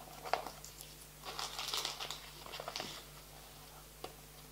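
Fingertips and nails scratch and tap a small clear plastic box full of green playing cards resting on a table. A sharp tap opens the clip, followed by quiet, bright, crinkly scratching in two bursts, and a final short tap near the end. Each tap dies away almost instantly with no ring.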